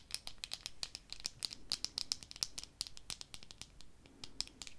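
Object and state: Plastic eyeglass frames scratched and tapped.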